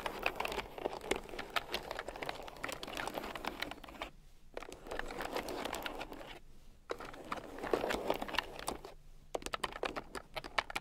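A red plastic keyboard with round, typewriter-style plastic keycaps lies on a fur rug and is typed on with fingertips and long nails. Quick, dense bursts of light clicking and tapping, with a crinkly texture, are broken by three brief pauses. The result is a steady patter of sharp, short clicks.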